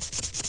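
Sandpaper is rubbed back and forth on a piece of wood, pressing lightly and heavily to produce different rubbing sounds. Short, bright, hissing scrapes repeat in quick strokes, mostly high-pitched with a faint low rumble beneath.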